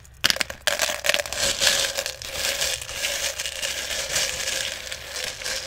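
Fingers dig into and stir small plastic airsoft BBs in a clear plastic jar that is partly full. A few sharp clicks open the clip, then a steady, bright, high-pitched rattling and rustling of the tiny pellets continues throughout.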